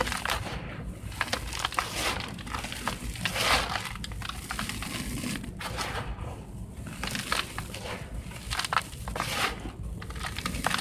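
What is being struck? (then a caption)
Sand in a plastic tub. Fingertips and palms of both hands press, scratch and rub across loose, dry, dark sand or soil filling a large teal plastic tub, with no chunks being broken. The result is a steady, gritty crunching and rustling with bright, grainy crackle that swells in repeated bursts over a soft low rumble.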